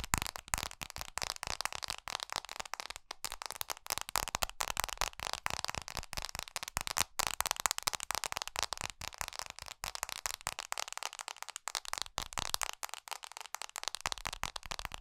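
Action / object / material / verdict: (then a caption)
tap / smartphone with glass screen and metal frame / glass / none. Long pink nails tap fast and aggressively on the glass screen of a small black iPhone SE with a metal frame, held in both hands. A dense, continuous stream of sharp, bright clicks rattles on with no ring and almost no low end, and no voice is heard.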